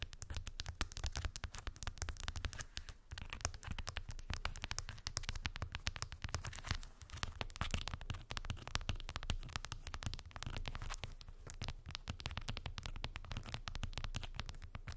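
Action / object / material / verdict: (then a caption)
scrape / wooden beads on a cork board / wood / none. Long white acrylic nails tap and scratch rapidly over a small rectangular cork board densely covered with solid round wooden beads. The result is a continuous stream of dense, crackly clicks and scratchy rattles, each sharp and short, over a steady low rumble.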